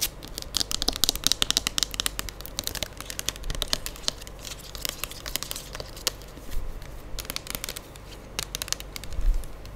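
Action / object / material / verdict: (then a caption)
tap / plastic pump bottle of liquid hand soap / plastic / none. A medium-size plastic pump bottle of Gold Diva moisturising hand soap, apparently full of liquid, is held in one hand close to the mic while the long acrylic nails of the other hand tap and scratch its surface. Rapid, bright clicks and crinkly scratching rise and fall over a steady low rumble, with a few louder taps standing out near the start and end.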